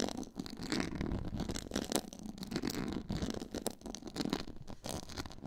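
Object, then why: Quilted faux leather board. Long nails scratch from the sides across a black quilted, pyramid-textured faux leather board. The result is a steady stream of dense, rough scratching, full in the low and middle range, with quick strokes that blur together and die away at once.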